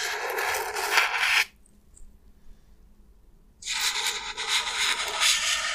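A white, elongated, solid slab of expanded polystyrene foam, held in one hand, is rubbed and scratched along its top with the fingertips and nails. Two bursts of bright, hissy scratching, about 1.4 and 2 seconds long, are separated by roughly two seconds of near silence.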